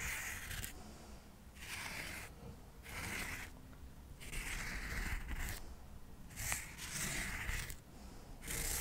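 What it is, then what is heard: Cork coaster stack scratched. Cotton swabs are scratched along the surface and edges of a solid stack of square cork coasters held in the hand. Repeated dry, raspy scratching strokes with a bright hiss come in bursts separated by short quiet gaps, over a faint low background rumble.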